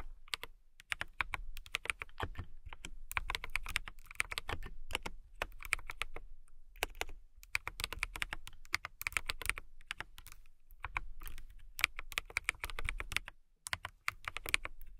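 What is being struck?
Acrylic mechanical keyboard.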